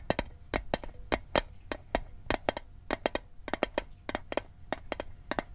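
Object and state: Metal mint tin.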